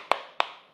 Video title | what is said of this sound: Komplit Dan Bertenaga Review Bor 13mm OSSEL BT 080 & OSSEL BT 817 | Kalau diketok-ketok ini paling yang kopong cuman ada di bagian tangan atau handle-nya. Ini cukup solid.